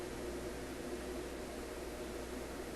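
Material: Nothing is struck.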